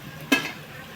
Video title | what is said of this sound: upvasala banva garam garam sabudana vade | वरून पाडला आपण तरी कडक आवाज येतो, म्हणजे कडक होतात